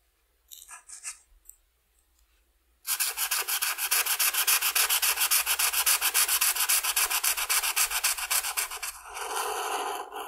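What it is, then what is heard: Felt-tip marker coloring on paper. A red felt-tip marker is rubbed across a flat white paper coloring sheet on a table, coloring the lower wings in dense strokes. A few soft, faint scratches come first, then after a short pause a steady run of rapid, regular back-and-forth strokes gives a bright, dry scratching hiss. It ends in a smoother, continuous rub.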